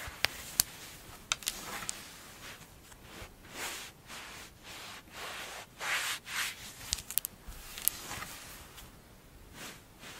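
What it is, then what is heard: Kinetic sand. A mound of pink kinetic sand on a dark glossy surface is scratched and dug into with long blue-painted fingernails and fingertips, then grabbed and crumbled. Soft, bright, grainy rubbing and crunching swells come and go, broken by sharp, brief nail clicks.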